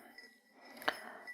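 Fingernails gently tap a hand-blown drinking glass made by hand, giving one clear, light glass clink among fainter taps. The ring dies away almost at once.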